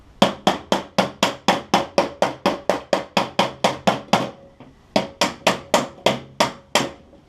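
A hammer strikes a steel sheet metal fender held over a dolly in 24 quick, evenly spaced blows, about four per second, with a brief pause after the first 17. Each hit is a short, sharp metallic tap that dies away fast. The solid rather than hollow sound shows the metal is flat with no gap behind it.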